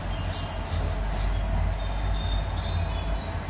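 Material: Nothing is struck.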